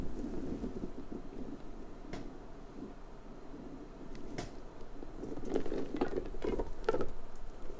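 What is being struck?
Hollow rubber puffer ball.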